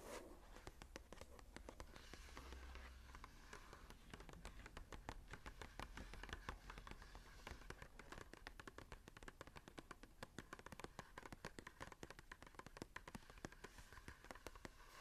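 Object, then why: Paper journal page. Long nails tap and scratch across the blank cream paper pages of an open journal lying flat. A rapid, continuous stream of short, dry, crisp clicks and papery scrapes runs throughout at a quiet level, with a faint low rumble underneath.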